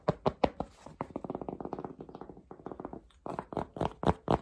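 Fingertips tap and scratch the soft crown of a dark Polo cotton baseball cap with a red logo, held in the hands. The sound is a quick run of dull, muffled taps centered in the low midrange, with almost no bright content. Louder, separate taps open and close the clip, with a faster, softer patter of tapping and scratching in between.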